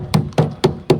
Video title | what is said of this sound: Simulasi Pengoperasian Boiler Vertical tipe Water tube - Pabrik Rumput Laut SMK-SMTI MAKASSAR | Jika bunyinya dia seperti ini, itu berarti terisi dengan air.